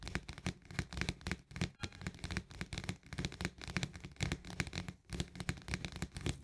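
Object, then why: Plastic lid on a paperboard canister. Fingernails and fingertips tap quickly on the rim of the green plastic lid of an Orzo Bimbo paperboard canister. The result is a dense, uneven run of short, dry clicks over a soft low thump, with bright ticking on top and brief pauses between bursts.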